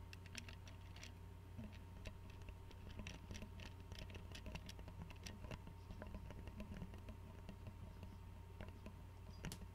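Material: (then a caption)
Glass. Fingernails tap rapidly on the neck and white screw cap of an Arizona glass tea bottle filled with tea and held sideways. The result is a quiet stream of short, bright clicks and ticks over a steady low hum.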